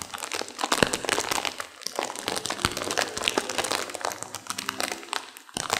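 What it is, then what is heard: Instant noodle packet being crinkled. A sealed plastic instant-noodle packet with dry noodles inside is squeezed and crinkled by hands and long nails, crunching the noodles. It makes a dense, continuous run of bright plastic crinkles and sharp crunching crackles with very little low end, and each crackle dies away almost instantly.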